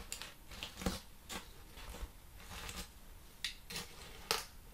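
Fingertips and nails tap the surface and edge of a large, flat, plain brown corrugated cardboard sheet with hollow flutes, held upright. Eight quiet, dry, papery taps and scratchy clicks sound out, each fading almost at once. The taps come at irregular intervals.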